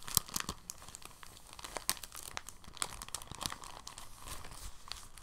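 A clear, thin, soft plastic bag is rolled, unrolled and stretched by hand. It makes quiet, bright crinkling, with sharp little crackles and snaps over a soft rustle throughout.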